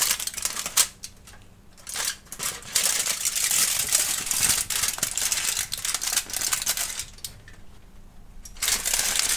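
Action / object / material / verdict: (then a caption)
scrape / thin aluminium foil sheet / aluminium foil / none. A crumpled sheet of thin aluminum foil is held and scrunched with both hands and fingertips while a kitten sniffs near it. Bright, crackling crinkles come in irregular bursts, with quieter stretches around the first and the last couple of seconds.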